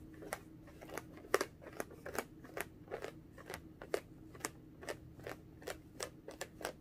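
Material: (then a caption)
Latex rubber. A small, pink, hollow, air-filled latex balloon, inflated and held in both hands at chest height, is tapped with long orange-painted nails. About nineteen quick, dry clicks sound over a faint steady low hum, each sharp and bright with almost no ring, some louder than others.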